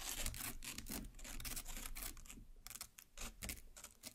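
A long black nail from each hand pierces and cuts the red pulp of a large watermelon half set flesh side up. The result is a steady run of wet, bright scratching and rasping bursts over a soft low body, thinning into quieter separate scrapes near the end.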